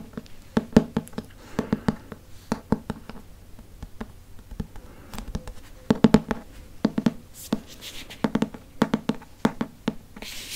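Fingertips and nails tap and trace the front of a large hardcover Harry Potter book held upright, its glossy printed cardboard cover solid underneath. A quick, uneven run of short, dull, hollow taps centred low around 220 Hz rings off almost instantly. Brief bright, hissy scratching strokes cut in between the tapping.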